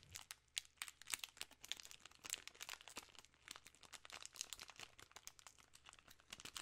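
A full king-size Reese's cups package in a plastic film wrapper is crinkled with fingertips and long nails. It makes a quiet, dense stream of crisp, bright crackles and crunches with almost no low end, each snap dying away almost at once.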